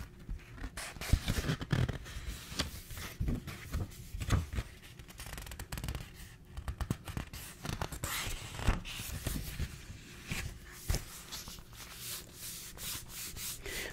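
Fingertips and nails rub and scratch across the paper pages and edges of a small yellow paperback book held open near the mic. The result is a steady run of dry, crackly scratching and soft rustling, with brief bright ticks over muffled low thumps as the fingers move.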